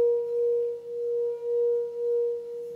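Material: Nothing is struck.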